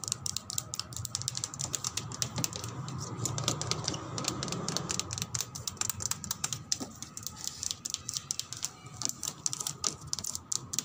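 A car body is tapped and scratched, giving a rapid, steady stream of crisp, bright clicks much like typing. Each tap cuts off almost instantly, and a softer, lower scratching texture swells underneath in the middle of the clip.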